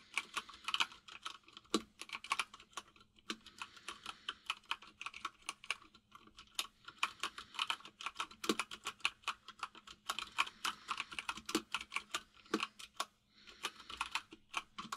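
Fingertips of both hands type fast on a full-size mechanical keyboard with white and grey plastic keycaps. A rapid, uneven stream of short, bright plastic clicks and clacks, with occasional louder strikes, continues throughout with only brief pauses. A faint steady low hum sits underneath.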